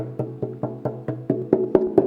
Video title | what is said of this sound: Bewlf Interview Bgby | it looks like a very thin solid plank of wood it's hollow inside